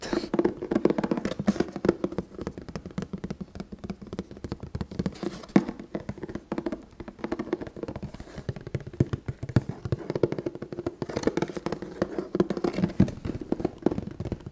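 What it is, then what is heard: Cardboard box, tapped. A red printed cardboard box for an ST-100X respirator, medium size and hollow with packaged contents, is held up and tapped and knocked with fingertips and knuckles. Rapid, continuous dull taps and hollow thuds sit in the low-mid range, each dying away almost instantly.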